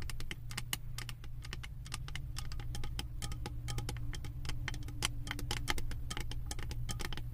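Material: Metal.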